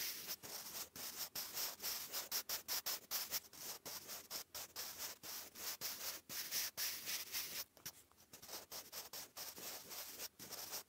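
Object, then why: Graphite pencil on a paper notebook page. A wooden graphite pencil writes cursive on a lined grey paper notebook page, making a steady, bright scratching sound. Short strokes come in quick succession with brief gaps between them. The sound is almost entirely high and airy, with little low end.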